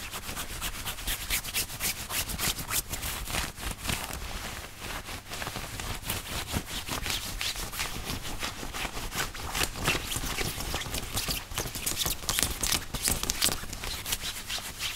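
Fingertips of both hands scratch and rub the chest and pocket area of a worn white button-up dress shirt made of thin woven cotton. A steady stream of dense, bright, scratchy strokes runs the whole time over a faint low rumble. The rubbing stays at an even, soft level with no pauses.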